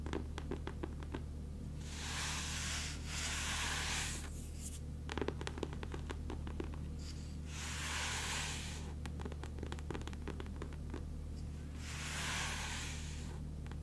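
Long manicured nails and fingertips scratch and rub across the textured grey linen cloth cover of a large, solid, closed hardcover coffee table book, "World's Finest Homes," held against the chest. Broad, bright scratching swells come in waves, mixed with quick crisp ticks from the nails catching the cloth, all over a steady low hum.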